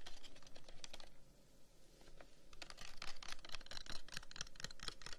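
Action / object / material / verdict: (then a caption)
tap / carved wooden incense box / wood / none. The end of a long, hollow, carved wooden incense box, held in one hand, is tapped and scratched quickly with the fingertips of the other hand. Brisk, irregular, dry clicking taps mix with scratchy rustling, ease into a quieter lull near the middle, then build again into dense, bright tapping. Each tap stops short with almost no ring.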